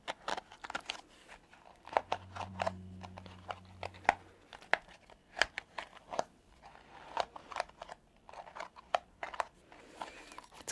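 Long nails scratch and flick the soft spiked bristles of a palm-sized purple silicone scalp massager, making a quick, uneven run of short, dry ticks and crisp flicks that die away almost instantly. Between about two and four and a half seconds, a faint low hum sits under the clicks.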